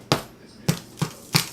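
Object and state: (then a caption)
Sourdough loaf sounds hollow (fully baked). Four hollow, dull taps on the top of a freshly baked sourdough loaf each give a short knock with a low thump around 176 Hz and a brief crackly crust rasp. The hollow sound shows the bread is fully baked.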